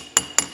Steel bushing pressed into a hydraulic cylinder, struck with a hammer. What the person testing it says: слышите звонкий звук? Значит, она на месте.